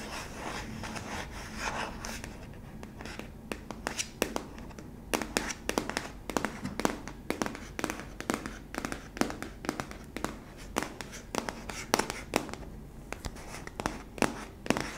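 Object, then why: Hollow plastic tub. Long nails scratch and tap the base and side of a hollow, yellow, cylindrical plastic sweetener tub. Soft, steady scratching runs underneath a quick series of sharp, dry, bright taps that die away almost instantly.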